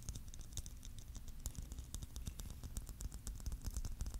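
A palm-sized hollow clear plastic Christmas bauble filled with glitter is held in both hands and tapped and lightly scratched with fingertips and nails. Quiet, rapid, irregular taps with a soft low thud run alongside bright, crisp ticks and scratchy clicks. Each tap dies away almost instantly with no ring.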